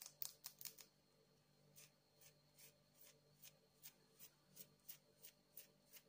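Long acrylic nails tap and scratch a palm-sized, solid, polished blue agate stone held in one hand. A quick cluster of sharp, bright clicks opens the clip, followed by softer, evenly spaced taps with no ring. The sounds are quiet and crisp over a faint steady background hum.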